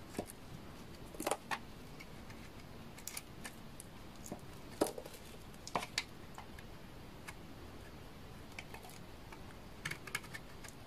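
A utility knife blade shaves curls off the face of a hand-held bar of dry, solid orange-brown laundry soap with embossed lettering. Short, crisp scraping clicks and brief bright rasps come at irregular intervals over a faint steady hiss, each cutting off quickly with almost no ring.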